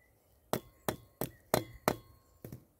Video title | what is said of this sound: Fatwood Tap Test - How to find Bushcraft Gold | sounds quite hollow